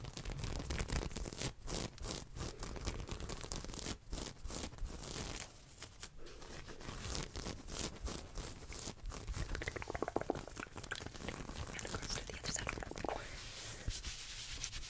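Long painted nails scratch fast and hard across the front of a soft, olive ribbed knit off-shoulder top worn on the body. The result is a dense, continuous run of rough, crackly scratching strokes with a bright fabric hiss, easing briefly in the middle before resuming just as hard.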